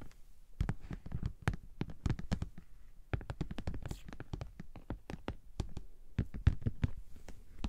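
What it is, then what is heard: Vinyl makeup bag tapped with nails. Long nails and fingertips tap and scratch the top and end panel of a hollow pink glossy PVC Ted Baker cosmetic bag lying on its side. A quick, irregular run of short, dry taps and clicks comes through with a deep, hollow low-end thump and very little brightness. Each hit dies away almost instantly.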